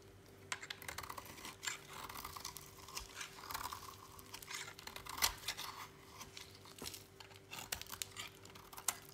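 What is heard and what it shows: A utility knife blade scrapes and cuts shavings from the edge of a thinned, solid, dry lilac soap bar held in a hand. Quiet, bright, crisp scraping and crackling cuts come in short bursts over a faint steady hum.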